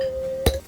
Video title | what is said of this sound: Sailing Gone Wrong: OUR MAST BROKE! — Sailing Yabá 228 | we're using plastic cups but it sounds like glass